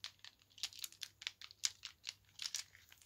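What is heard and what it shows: A string of large, round, solid brown wooden beads with small metal spacers is handled and clacked between fingertips with medium nails. The result is a quiet, irregular run of short, dry, bright clicks and crinkly taps with almost no ring, with one brown bead held in the fingers at the end.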